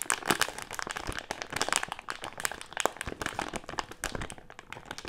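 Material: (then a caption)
Plastic film. A medium printed plastic-film Haribo gummy candy bag with gummies inside is squeezed and crinkled between the fingers of both hands. The result is a dense, continuous run of sharp, bright crackles and crinkles with very short decay and little low end.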